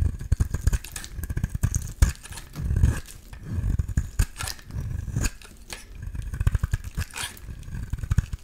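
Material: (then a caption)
Soap. A solid yellow oval bar of soap, held in the hand, is shaved with a metal utility-knife blade. The sound is a dense run of quick, close scraping strokes with a dull, bass-heavy body and faint bright edges, coming in short bursts with brief quieter gaps between them.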